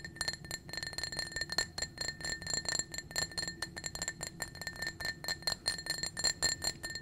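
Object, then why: Small glass drinking cup. A small, clear, blue-tinted glass drinking cup, hollow and apparently empty, is held in the hand and tapped rapidly with painted fingernails. The taps give a fast, steady stream of bright glassy clinks with a high ringing tone. Each clink dies away almost at once.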